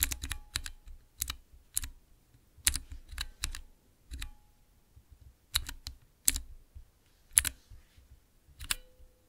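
Fingertips type on a small transparent plastic 9-key mechanical keypad with blue Cherry MX switches, resting on black cloth. Sharp, bright clicks with a low thock underneath come in irregular bursts and die away almost instantly, leaving quiet gaps between presses.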